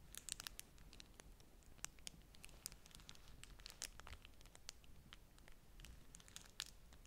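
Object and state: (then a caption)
Beeswax-coated cotton food wrap. A folded beeswax-coated cotton food wrap, held in one hand above a stack of wraps, is scratched and squeezed with long nails, the stiff waxy cloth crinkling. The result is a quiet, steady stream of crisp, bright crackles and scratchy ticks, each dying instantly, with a few sharper snaps standing out over a soft low rumble.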